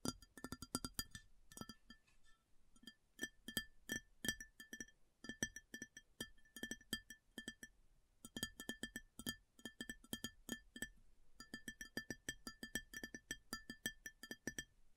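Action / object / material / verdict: tap / ceramic plate / ceramic / none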